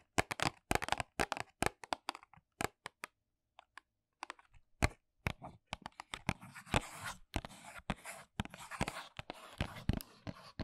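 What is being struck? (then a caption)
Small paperboard box. Long nails tap and scratch the back face of a small white paperboard box held upright in both hands. Quick, sharp, dry clicks come in bursts, thin out to a few isolated taps with a brief silence, then return mixed with bright, raspy scratching that fills the second half.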